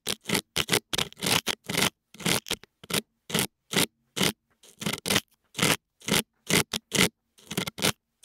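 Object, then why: Silicone ear of a dummy-head microphone scraped with a metal pick. A thin metal dental pick, held in fingers with long nails, scrapes inside the left ear canal of a white binaural dummy head whose soft silicone ears hold the microphones. About two dozen short, separate, close-up scraping and crackling strokes come in an uneven rhythm, bright and rasping with a faint low hum beneath, each cut off quickly with almost no ring.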